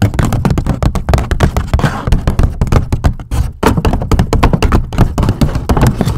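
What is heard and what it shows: A grey polka-dot medium-size hollow paper gift bag is scratched and tapped near its top edges with long acrylic nails. The sound is a rapid, continuous run of soft, low, dull taps and papery scratches with little ring, pausing briefly just before the midpoint.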